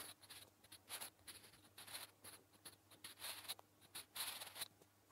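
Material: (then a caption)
Paper. A wooden graphite pencil, held in the fingers, scratches across a flat grey lined notebook page in short writing strokes. The result is a quiet, dry, bright scratching in quick bursts with brief pauses between them.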